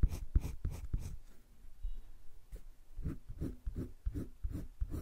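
A green wooden colored pencil, held in the fingertips, scratches and shades across a flat sheet of a spiral-bound drawing paper sketchbook. Quick, soft, dull scraping strokes come in a rapid burst, pause briefly, then resume in a steady back-and-forth rhythm. The sound stays quiet, low and muffled throughout.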